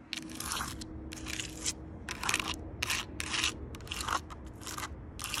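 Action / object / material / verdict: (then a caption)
scrape / rough tree bark on a log / wood bark / none. Long purple nails tap and scratch along the rough bark of a large solid log. A series of short, crackly, bright scraping bursts repeat over a faint steady low hum.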